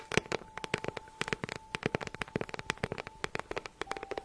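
Long nails tap and scratch a small, hollow, green crocodile-embossed faux leather handbag held in the hand. About 25 quick, dry, bright clicks land in an uneven rhythm, with soft scratching between them, and each tap dies away almost instantly with no ring.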